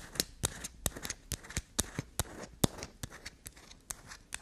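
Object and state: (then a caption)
Bar of black soap. Long black nails scratch and tap quickly on a solid block of black soap with a grey scraped surface. Over a dozen crisp, bright clicks land in a fast, uneven rhythm with soft scraping between them, and each hit dies away almost instantly.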